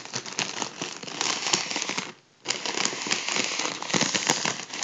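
A gold mylar foil balloon is held in one hand while the fingertips and nails of the other hand pinch and crinkle a folded edge. The result is a dense, bright, crackling crinkle with almost no low end, which stops for a brief silence around the middle before starting again.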